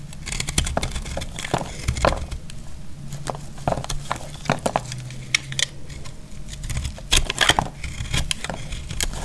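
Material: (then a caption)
Soap. A metal utility blade cuts and scrapes a dry, palm-sized block of recycled, speckled green soap held in the hand, and flaky pieces fall away. The result is a steady run of crisp, bright crackles and sharp scraping clicks over a low, muffled rumble, with the loudest snaps near the start and toward the end.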